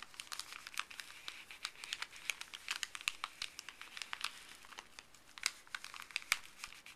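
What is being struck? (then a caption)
Thin printed paper bag handled with gloved fingers. Fuzzy gloved fingers scratch, crinkle and stretch a folded, thin printed paper pharmacy bag. The result is a quiet, steady stream of crisp, bright crackles and rustles with almost no low end, each snap dying away almost instantly.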